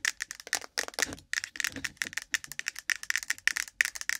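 A hand-sized, cylindrical, ribbed, translucent plastic case full of cotton swabs sits on the microphone while long pointed nails from both hands tap and scratch fast along its sides. About 29 sharp, dry, bright clicks and rasps come in rapid bursts with a few brief pauses, each hit stopping instantly with no ring and carrying a faint plastic tone near 1.9 kHz.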